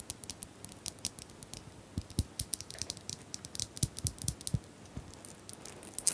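Small plastic bottles are tapped in a quick, irregular series of light taps. Each tap is a short, bright click over a soft, dull low knock, dying away almost instantly. The taps stay quiet overall, with a few louder knocks standing out.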